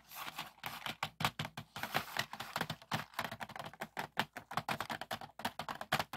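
Fingertips tap quickly on the lid and compartments of a medium clear plastic organizer box filled with pearl and acrylic beads, lying on a wooden table. A rapid stream of light, dry plastic clicks with a bright edge, each decaying almost instantly, is heard as the beads rattle inside.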